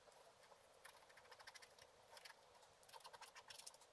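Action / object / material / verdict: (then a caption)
scrape / wax-coated scratch-art paper scraped with a wooden stylus / waxed paper / none. A wooden stylus scratches across a flat scratch-art sheet, black wax coating over colored paper, held down by one hand, in short strokes that remove the black coating. Quiet, dry, bright scratching comes in quick clustered bursts, with almost no low end and no ring after each stroke.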